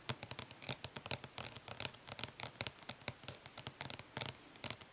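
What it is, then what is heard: Plastic eyeshadow palette tapped with nails. Long nails rapidly tap and lightly scratch the printed lid of a closed, flat, hollow plastic eyeshadow palette, producing about thirty quick, bright clicks. The clicks are separated by soft scratchy rustling, and each tap dies away almost instantly.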